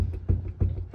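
A worn rear upper rose joint on a Ford FG Falcon XR6 being shaken by hand knocks with loose play. Three dull, low knocks around 90 Hz land about 0.3 seconds apart and die away quickly. The joint is worn and faulty, and the looseness gives a metallic knocking sound when driving.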